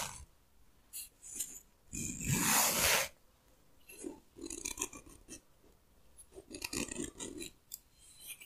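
Fingertips and fingernails run across and pluck at the teeth of a small, light-colored, solid wooden comb with wide teeth, held in both hands. The result is bright, rasping scratches in irregular bursts, including one longer, louder drag near the start and clusters of quick, dry plucks later on.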